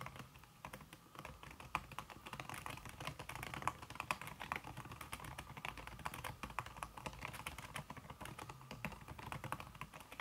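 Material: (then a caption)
Silicone. Fast typing on a backlit laptop keyboard in a silver aluminum body, its keys covered by a thin red silicone skin, tapped by fingertips with long red nails. The result is a dense, steady stream of soft, muted clicks with short, dry decay and a mid-range tone, with no speech.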